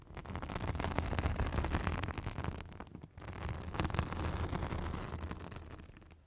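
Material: Synthetic fibre.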